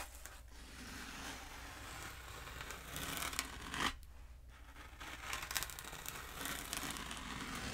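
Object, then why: Foam pool noodle. Long nails tap and scratch a long, black, hollow foam pool noodle, first held diagonally and then upright. The result is a steady, dry, bright scratching and crackling, like tearing. A sharper scrape stands out near the middle, with brief louder bursts toward the end.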